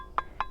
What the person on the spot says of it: Bakal to hindi siya plastic no. Tuktukin natin.